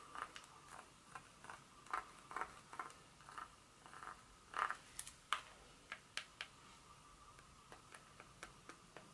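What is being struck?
Dark chocolate bar.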